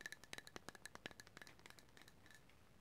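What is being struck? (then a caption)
Small wooden cup. A small, hollow, empty bamboo or wooden cup held in the hands is tapped and scratched on the outside with long matte green nails. A quick run of sharp, dry, hollow taps rings briefly near 1.7 kHz with bright clicky edges, then fades into softer, quieter scratching toward the end.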